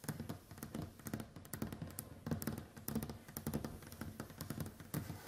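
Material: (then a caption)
Wood. Long white acrylic nails and fingertips tap across a large, solid, varnished wooden tabletop. The result is a quick, uneven run of soft, dull knocks mixed with sharp clicks. Each tap dies away almost at once.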